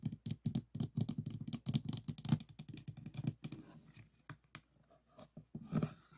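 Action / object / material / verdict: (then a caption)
tap / diamond painting board with plastic resin drills / plastic resin / none. Fingertips and nails tap quickly on the plastic resin drill surface of a small, rigid, framed diamond painting board resting on a table. The result is a rapid, uneven run of short, dry, clicking taps with little ring, mostly low in tone with a faint bright edge, some bunched together and some spaced apart.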